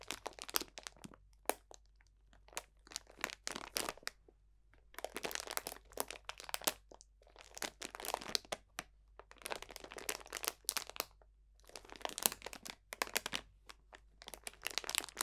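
A clear cellophane plastic bag full of dried potpourri botanicals is crunched with the fingertips of both hands. Quiet, bright crinkling and crackling comes in dense bursts separated by short pauses, with almost no low end.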